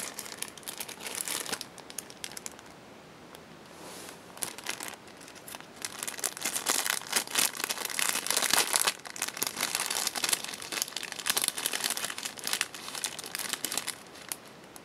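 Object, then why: Thin cellophane bag. Fingertips with painted nails grip and handle a thin, clear cellophane bag holding paper craft strips, lying over a pink Hello Kitty item. They produce bright, dense crinkling that is mostly high in pitch with almost no low end. The crinkling eases to a quieter stretch early on, then returns louder and busier for the rest of the clip.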